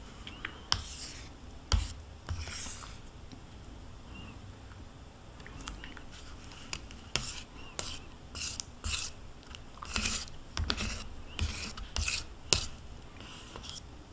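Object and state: Plastic yogurt cup scraped with a spoon.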